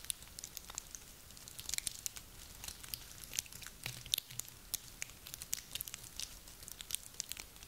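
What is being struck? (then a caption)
Small pine cones. A handful of small, dry, solid pine cones with woody scales, gathered from a garland, are squeezed and rubbed together in cupped hands with long nails. The result is a quiet, steady stream of dry, bright crunching and crackling clicks that stop instantly with no ring, with occasional sharper snaps standing out.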